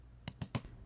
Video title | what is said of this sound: How to Make Laser Cut Boxes with Finger Joints | lightly tap it with a mallet until it sounds solid